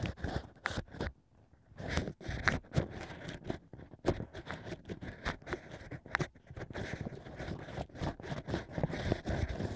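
Fingertips guide two bamboo sticks that scrape inside the hole of stacked hollow cork rings set in a plush ear. Close, dry scraping and crunching strokes come in quick bursts with short pauses, carrying a soft low rumble underneath.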